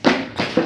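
Three dull, woody knocks land on a homemade bench built from scrap stair-tread wood with a 2x4 brace. The bench is knocked on and shaken to show it is strong and not wobbly. Each knock is a short, low-mid thud that fades quickly, and the bench sounds solid.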